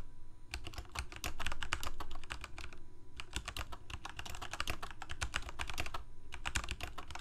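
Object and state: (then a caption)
Plastic mechanical keyboard. Both hands type rapidly with their fingertips on a full-size black plastic Corsair K68 mechanical keyboard with Cherry MX Red switches and blue backlit keycaps, resting on a white desk. The result is fast bursts of short, crisp clicky key presses with a bright edge, pausing briefly around the 3- and 6-second marks. A steady low rumble and a faint constant tone sit underneath.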